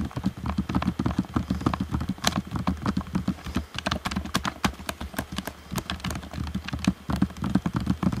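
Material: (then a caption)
Plastic. Fingertips tap rapidly and unevenly on the hollow shell and buttons of a black plastic Xbox One controller. Each tap is a short, dry click with a hollow low body and a brief bright tick, and the taps run in a steady, continuous patter.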